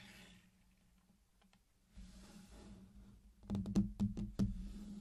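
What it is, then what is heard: Candy-coated chocolate pieces. Fingertips tap and press the hard sugar shells of many small, solid candy-coated chocolates laid in a flat, circular colored pattern on a dark surface. After a quiet, hissy start and some soft rustling, seven sharp, bright clicks land in quick succession over a steady low hum.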